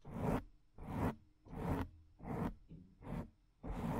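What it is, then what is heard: Foam microphone windscreen scratched with nails. Long acrylic nails scratch the top and side of a soft, porous, medium-sized black foam microphone windscreen with one or both hands. Six separate raspy, scratchy bursts repeat at a steady, unhurried pace, each with a heavy low rumble and a bright hiss that cuts off quickly between strokes.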